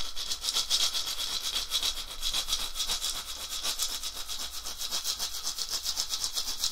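A hollow, carved, dried gourd rattle with a wooden handle is swung and shaken side to side by one hand over a red cloth. It gives a steady, bright, hissing rattle of seeds or grit in rapid, loosely even pulses, about four per second, with little low end.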